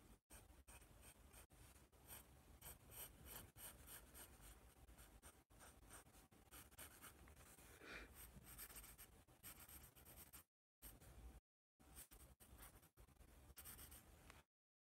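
A yellow wooden pencil writes and scratches across a white paper sketch pad marked with a drawn letter A. The clip is a quiet, continuous run of dry, scratchy strokes with a soft low rumble underneath and bright, raspy edges. The strokes pause briefly twice near the end before the sound stops just before fifteen seconds.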